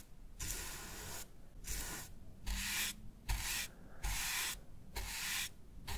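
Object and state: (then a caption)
Plastic game controller brushed. A shaving brush with a wooden handle and grey-white bristles is rubbed and brushed over the textured back of a black plastic PS5 DualSense controller, which is hand-sized and hollow and lies on a wooden desk. Repeated strokes make bright, hissy bristle swishes over a soft low rumble from the hollow plastic body.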